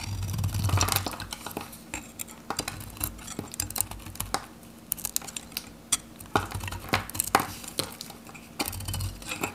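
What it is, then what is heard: Dry soap bar being cut. A metal knife cuts and shaves slices from a handheld, varnished, dry Godrej No.1 soap bar, orange-red with a pale interior. Irregular, sharp crunching snaps and scraping clicks ring briefly over a low rumble that swells at the start and end.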